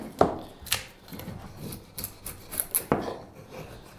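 A straight steel carving knife shaves and scrapes a solid light wood spoon blank. Short, crisp cutting strokes with bright scraping edges stand out against a quieter rasping rub, each stroke dying away quickly.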